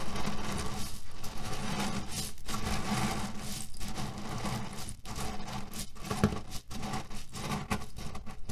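A cotton canvas pillow filled with cherry pits is pressed and scratched with fingertips and nails. This produces a steady, dense rustling and gritty crunching as the pits shift inside the fabric. The sound is mostly low-pitched with a faint hum-like tone around 200 Hz and brief dips in loudness between strokes.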